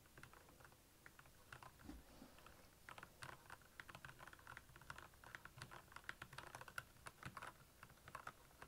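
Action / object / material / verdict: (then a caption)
tap / plastic mechanical keyboard / plastic / none. Both hands type steadily with their fingertips on the keycaps of a black backlit plastic mechanical keyboard. The result is a quick, dense run of short, bright clicks and clacks that die away almost instantly over a faint low background.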